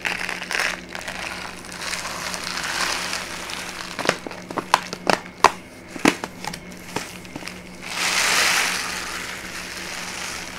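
A tall brown kraft paper pouch with a white label and folded top, apparently partly filled with dried herbs, is held in the hands and crinkled and rubbed with long painted nails and fingertips. Soft, steady crinkling gives way to a run of sharp, bright crackles and snaps, then a louder swell of rustling before it settles back into quiet crinkling.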